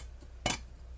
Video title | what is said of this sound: Frankenstein Cinema Camera? Moving my $600 Blackmagic Pocket 6K Into A New Body. | it kind of sounds like metal it's super stiff it's really impressive material